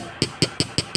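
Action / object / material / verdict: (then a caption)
tap / stone lump / stone / solid. A stone object called a "lightning tooth" is tapped five times in an even rhythm. Each tap gives a sharp, bright click with a low thump beneath it and a very short decay, over a faint steady background hum. The sound is solid, consistent with the stone being solid.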